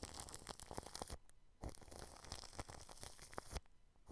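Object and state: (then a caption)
Plastic cling film over a microphone, brushed. A paintbrush brushes clear plastic cling film wrapped over a microphone grille, making dense crinkling, scratchy brushing that sounds like tearing plastic. The bursts are broad and hissy with a heavy low rumble, briefly dropping to quiet around 1.2 to 1.6 seconds and again near the end.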